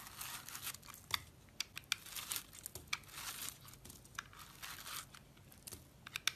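A utility blade scrapes a solid pink bar of soap with a soft, powdery outer layer, held in one hand by fingers with dark painted nails, shaving off crumbly powder and chunks. The sound is quiet, dry, bright scraping and crumbling, broken by sharp, brief clicks with almost no ring.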